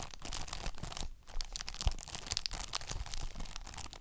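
Long nails scratch and tap a thin, hollow plastic PS5 game case that is held up and still sealed in cellophane wrap. A steady run of quick, bright crinkles and scratchy taps comes from the film over a low, soft body, pausing briefly just past the one-second mark before picking back up.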